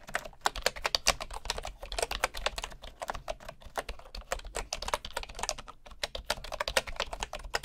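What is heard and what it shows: A right hand types with its fingertips on the wooden keys of a bamboo keyboard, heard close-up from low at the side. Quick, uneven streams of short, dry clicks and taps come with a bright, high edge and almost no ring, over a faint low rumble.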